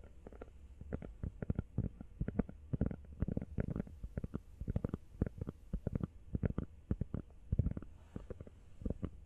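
Long nails tap rapidly on a small, hollow, empty teal rubber phone case, making a fast stream of soft, dull, low thuds. Each tap is short and dry with no ring, and the quick taps come in uneven bursts throughout.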